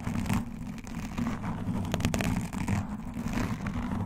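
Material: Foam.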